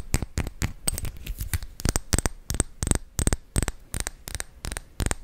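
Fingernails tap and scratch a small clear glass perfume bottle with gold-colored liquid and a metal-trimmed top, held close to the microphone. Quick, dry clicks repeat in a steady rhythm, each with a low thump and a bright, crisp edge, and faint scratchy rasps fill the gaps between them.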